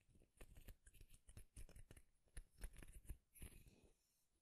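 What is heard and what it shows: Fingernails strum and flick across the long teeth of a light wooden comb, producing a quiet series of dry, rapid clicks and ticks. Each burst has a soft low thump under a bright, crackly edge and stops almost instantly with no ring.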